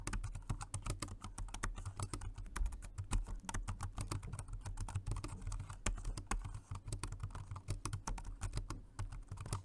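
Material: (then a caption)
Plastic. Steady two-handed fingertip typing on a Jelly Comb multi-device keyboard, a dark grey, low-profile, dual-mode rechargeable 2.4G wireless and Bluetooth model with round plastic keys. It produces a continuous run of quick, short clicks, each with a soft low thud and a faint bright tick that dies away almost at once.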